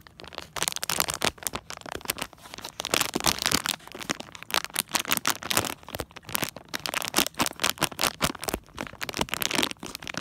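Fingertips and nails scratch and tap the back of a small printed plastic foil Disney Tsum Tsum mystery blind bag held close. The result is dense, bright crinkling and light rattling in quick, dry bursts that swell and fade over about ten seconds.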